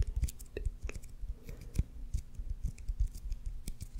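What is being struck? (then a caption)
Leather baseball with raised stitching. Fingernails scratch along the raised red stitches of a solid white leather baseball held beside a microphone and tap on its leather surface. The result is a quick, uneven run of soft, dry scratches and taps, heavy in low thuds with brief bright ticks that die away almost instantly.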